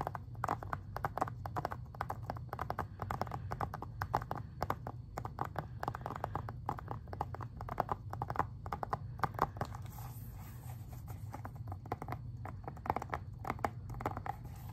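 Fingernails tap rapidly on the front cover of a plastic Xbox 360 game case, making a steady stream of short, dry clicks that center around 740 Hz. A constant low hum sits underneath, and a faint high hiss joins in after about 10 seconds.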